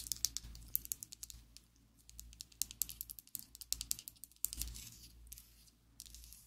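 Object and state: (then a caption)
Plastic lipstick tube tapped with nails. A slim pink and black plastic Essence liquid lipstick tube, held above a table, is tapped and scratched with long acrylic nails. A rapid, uneven run of crisp, bright plastic clicks is heard, each dying away almost instantly, with soft scratchy rustling between taps over a faint low hum.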